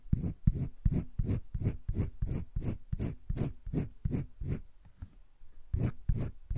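A green wooden colored pencil makes repeated shading strokes across a flat page of a spiral-bound paper sketchbook. Each stroke is a soft, short scratching rub, mostly dull and low, coming at a brisk, slightly uneven pace with a brief lull near the five-second mark.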